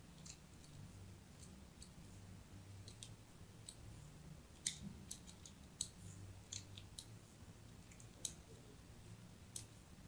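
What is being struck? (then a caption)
Bar of soap cut with a metal blade. A metal blade scores dense crosshatch lines into the surface of a solid white soap bar held in a hand with pink nails. Quiet, crisp, bright scraping clicks pop out irregularly over a soft low hum, with a few sharper snaps standing out from the steady scratching.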